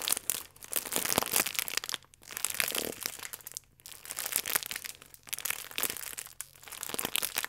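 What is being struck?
Plastic film croissant wrapper.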